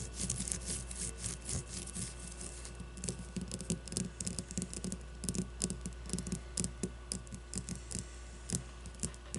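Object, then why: Leather baseball. A solid leather baseball held upright on a table is scratched and tapped by long nails on its leather and stitching. Many short, crisp taps and scratches come in a quick, uneven patter over a low steady hum, each dying away almost at once.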